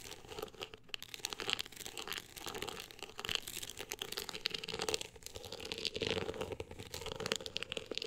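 Long acrylic nails scratch the ribbed surface of a woven-texture hardcover book cover. The result is a steady, bright, dry rasping of quick overlapping strokes with crackly, crinkling grit and almost no low end.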